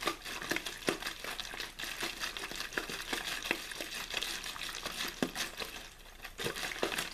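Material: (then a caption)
Plastic. An empty, hollow, clear plastic water bottle with a blue label is squeezed and crinkled by the fingertips of one hand. The result is a steady stream of bright, crackling pops and sharp clicks that fade almost instantly. Louder snaps stand out over a continuous rustle.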